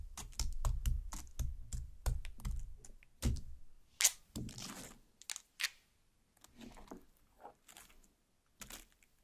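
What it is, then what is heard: Cut watermelon half tapped with long nails. Long black nails tap rapidly on a large cut watermelon half with red flesh, making quick, dull, low-bodied thuds. The nails then pierce the pulp with sharper, bright, wet crackling bursts that grow sparser and quieter toward the end.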